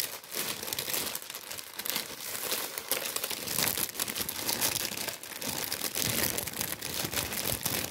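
A tan, wheat-printed kraft paper bread bag with baguettes inside is held in the hands while the paper is crumpled and rubbed with the fingers. This makes a steady, dense, bright crinkling and crackling with little low end that runs through the whole clip without pause.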